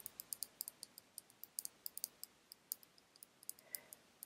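Long red nails tap and tick on a small, full glass bottle of orange nail polish held in the fingers. About 25 quiet, bright clicks land at an uneven pace, each dying away almost at once with no low-end body.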